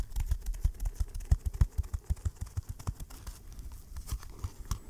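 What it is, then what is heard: Fabric-covered cardboard box. Fingertips and short nails scratch and tap the textured lid of a small, rectangular, closed green baoding-ball box, likely hollow cardboard covered in green-and-gold brocade fabric, held in one hand close to the mic. The result is a quick, uneven run of dull, deep, short thumps with almost no ring, over faint scratchy rustling.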